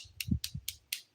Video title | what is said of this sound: The Daily Nail: Black & Red Blood Drip Dip Nails #nails #diynails #nailart #dipnails | you can hear that tapping noise. That means your nails are all fully cured, and we can file.